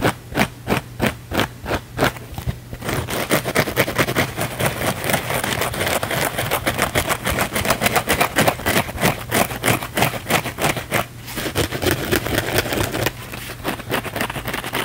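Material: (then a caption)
Foam. A thin, flexible, palm-sized blue foam sponge is held in both hands and scratched fast and aggressively with the fingernails. Spaced, separate scratches at first quickly build into a dense, continuous run of rough, bright scraping over a low steady hum. There is a brief pause near the end before the scratching resumes more softly.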